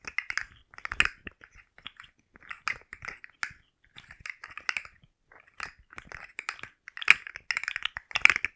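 A rainbow segmented plastic articulated slug fidget toy is held and curled in the hands while long nails tap and scratch its ridged plastic segments. The result is bright, dry clicking and scratchy rasping in irregular bursts separated by short silences, with no low end and no ringing after each tap.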